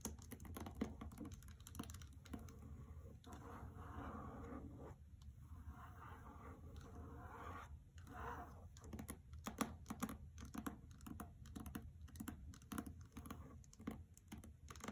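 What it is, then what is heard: Hardcover book with paper dust jacket. Fingers with long red nails on both hands tap quickly on the lower half of the paper dust jacket of a hardcover novel resting on carpet. The result is a fast, uneven patter of short, dry clicks with almost no ring, and a softer papery rustle in between.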